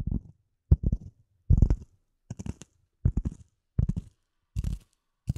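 A solid, dark speckled polyethylene foam block, held near and above the mic, is scratched and tapped with fingernails. Short bursts of quick, dull, low, muffled taps and scratches come at irregular intervals, each dying away almost at once.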